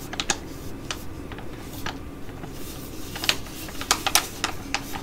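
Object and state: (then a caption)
Plastic foil sachet tapped with nails. A Be Shineeee Jewelry Mask, a flat, thin plastic foil sheet-mask sachet with a holographic print, is held in both hands while long nails tap and scratch its front and back. Sharp, bright taps and short crinkles stand out in irregular clusters over a steady low background hiss.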